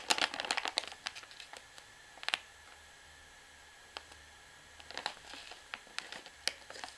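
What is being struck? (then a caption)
Plastic pouch of washing powder. A full, soft 500 g white plastic pouch of Hi Foam washing powder is held in the hand while long manicured fingernails and fingertips tap and scratch its front and the bag is squeezed. Bright, dry crinkling comes in bursts at the start, around the middle and near the end. Sharp clicks with almost no ring are set between quiet pauses.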